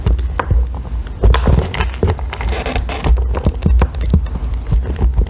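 A thin metal loop tool scrapes a small remaining piece of solid green bar soap, surrounded by ribbons of shavings. Quick, dense scraping strokes and short crackly bursts ride over a steady low thudding rumble, with each stroke dying away almost at once.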